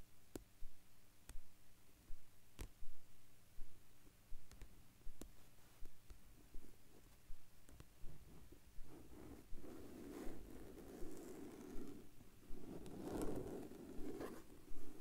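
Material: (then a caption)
Plastic. Fingertips with short nails tap and scratch the surface of a large, flat black vinyl or plastic binder cover while the other hand steadies the binder. Quiet, low, dull taps repeat at a fairly steady pace, and in the last few seconds they give way to denser, rougher scratching.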